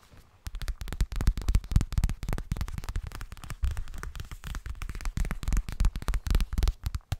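A yellow half-moon zippered cosmetic pouch of fabric, likely coated, hollow inside, is tapped and scratched with fingertips and nails. A fast, irregular stream of dull, low thuds runs throughout, each very short, with faint bright scratchy clicks between them.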